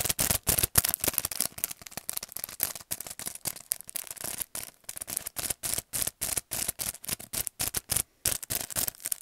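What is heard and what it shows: Fingernails rapidly tap and scratch the clear plastic front of a paintbrush set's plastic and cardboard packaging, held upright. The result is a fast, irregular run of dry, bright clicks and scratchy crinkles with no ringing.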